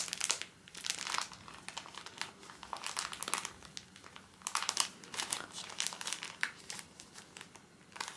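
A full pocket pack of paper tissues in soft plastic film is held in both hands and squeezed and rubbed with the fingertips. The film gives off bright, dry crinkles in uneven bursts, louder around the middle of the clip, with almost no low end.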